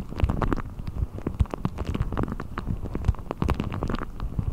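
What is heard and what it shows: A blue deflated rubber ball with a thin hollow skin is stretched over the top of a microphone and pulled and rubbed with fingertips. It makes a dense, continuous run of low, muffled rumbles and thumps with quick rubbery squeaks and brief brighter scratchy flicks. The sound stays close and steady throughout with no pauses.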